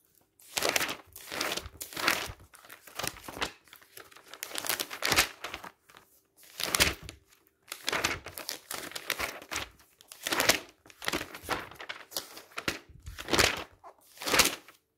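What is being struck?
Glossy paper magazine.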